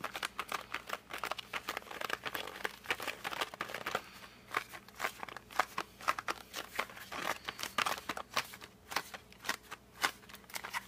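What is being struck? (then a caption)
Flat cardboard pencil box. Fingertips grip a flat cardboard colored pencil box by its edges, tilting and turning it, with the edge held up close. The result is a steady run of quick, dry squeaks and crinkly scrapes, each very short with no ring, bright in the upper mids and highs. It stays quiet throughout with little low end.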